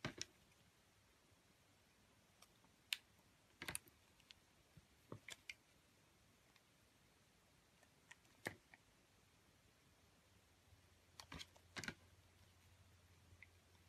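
A metal cutter blade shaves thin curls from the surface of a solid orange translucent glycerin soap oval held in the hand. The result is quiet, scattered, crisp clicks and short bright scrapes separated by near-silence, with a faint low hum underneath toward the end.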